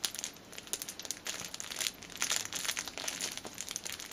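A thin, clear plastic film strip is held between both hands, stretched and crinkled with the fingers and nails. It makes a dense stream of bright, crisp crackles and crinkles that rise and fall in rapid bursts, with almost no low end.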